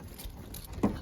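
A nearly empty fuel tank on a Dodge Dart 340 is shaken, producing a brief, faint low slosh that ends in one stronger thump near the end. The short slosh means the tank is low and it's time to refill with premium fuel.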